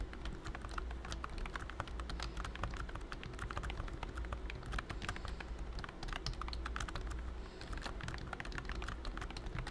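Fingertips of both hands type rapidly on a pink plastic BT21 Cooky computer keyboard with round white keycaps and a hollow body. The result is a dense, continuous stream of short, sharp plastic clicks and clacks over a steady low hum.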